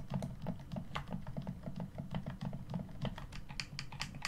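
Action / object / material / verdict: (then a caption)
tap / plastic game controller buttons and thumbsticks / plastic / none. A black, hollow plastic Xbox One controller is held in both hands while the thumbs press the face buttons and click the thumbsticks. A rapid, steady series of short, dry plastic clicks and taps rides over a low, muffled thump, with each click dying away almost instantly.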